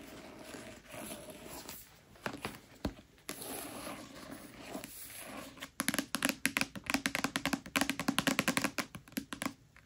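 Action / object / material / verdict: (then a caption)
tap / paperback book, paper cover / paper / none. Long fingernails tap and brush across the cover of a thick red paperback copy of A Court of Thorns and Roses, starting as a soft, scratchy rustle with a few scattered clicks. Toward the end, a single fingernail takes over with a quick, fairly steady run of crisp, dry taps that stop almost instantly with no ring.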